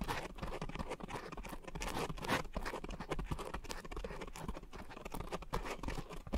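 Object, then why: Coarse foam scrub sponge. Long nails scratch across a round, soft, porous pink coarse foam scrub sponge set on a white foam base around two microphones. A dense, continuous run of rough scratching and rustling fills the clip, close and heavy in the low end, with quick crunchy bursts that die away almost at once.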